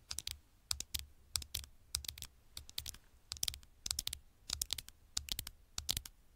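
Long nails rapidly tap the black glass screen of a small smartphone lying face up, producing quick, bright, keyboard-like clicks in irregular bursts. Each click is sharp and dies away almost instantly, over a faint low background rumble.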